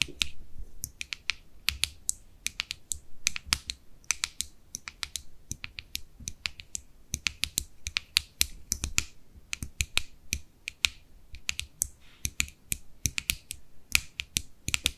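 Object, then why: Small plastic cosmetic jar with lid. Long nails tap rapidly on the flat top and rim of a small white plastic cosmetic jar with its lid closed. About sixty sharp, dry clicks come in quick, irregular bursts, each bright and snappy, centred near 2.4 kHz, and dying away almost instantly with a faint low thump underneath.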